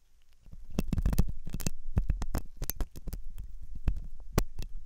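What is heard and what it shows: A metal dental pick scrapes inside the hollow ear canal of a white, soft silicone ear on a binaural microphone. The result is a dense run of short, close-up scratching clicks and rubs, mostly low and thumping with brief bright ticks. The strokes start quiet, swell, and then continue irregularly.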